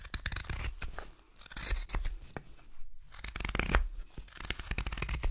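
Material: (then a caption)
Wood. A steel knife whittles a solid pale wooden spoon blank of light carving wood, its handle held in both hands, in short paring cuts. The clip is a steady run of quick, dry scraping and shaving strokes with a crisp, bright edge over a low rumble. There is a brief pause near the middle before the cutting resumes.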